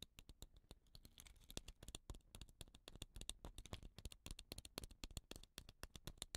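Fingernails scratch and tap along the body of a hollow, dot-painted wooden rain stick with rattan ends while it is turned in the hand. The result is a quiet, dense stream of short, dry clicks and scratches in an irregular rhythm. Each click is crisp and bright and dies away almost instantly, over a soft low rumble.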